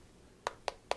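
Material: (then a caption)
Polycarbonate. Three quick taps on the polycarbonate plastic back of an HDC Nano One smartphone, a clone of the HTC One M7, giving short, dry clicks with no ring. Unlike the clone's aluminium original, it sounds and feels plastic, though still fairly solid.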